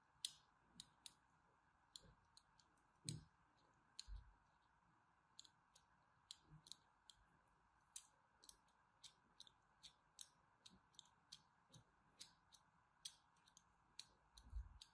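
A thin metal blade scratches diagonal line cuts into the surface of a solid bar of cream soap held in the hand. About thirty short, crisp, bright clicks and scrapes sound at an uneven pace, some with a soft low thud. A faint steady hum sits underneath throughout.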